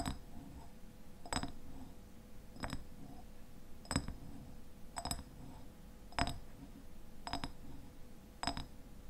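Fingernails tap and scratch the sides of a medium glass raspberry jam jar with a white lid and paper label. Sharp, bright clicks recur roughly every second over a soft, continuous scratching hiss, each tap dying away almost instantly with little ring.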